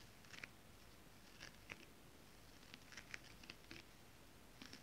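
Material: Synthetic fabric.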